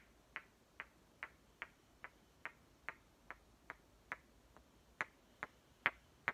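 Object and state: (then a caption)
Painted wooden toy watermelon halves. Two solid halves of a small painted wooden toy watermelon, green with dark stripes, are held one in each hand and knocked and tapped against each other with fingertips. Fourteen short, dry, bright clicks ring out at a steady pace of about two per second, each dying away almost instantly. The final few taps are louder and sharper than the rest.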